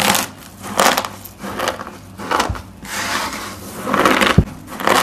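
Two hands with medium painted nails grab, squeeze and rub a large pile of small, multicolored, brittle dried soap sheet flakes on a table, crushing and crumbling them. Bursts of dry, bright crunching and crinkling come in uneven waves, with a couple of short low thumps between them.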